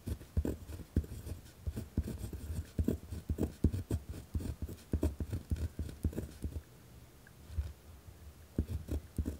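A pen tip scratches across a white lined paper pad resting on a wooden desk while writing. Rough, dull scratching strokes come in quick bursts with a heavy low thud to each, a short quieter stretch near the middle of the final third, then the strokes resume.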